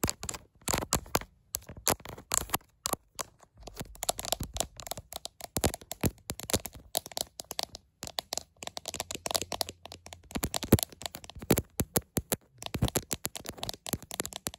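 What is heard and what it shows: Long acrylic nails rapidly tap and scratch the back of a clear plastic smartphone case with a green bumper, on the handheld phone doing the recording while it is held up to a mirror. The result is a dense stream of sharp, dry, crackly clicks and scrapes with very short decay, broken by brief pauses.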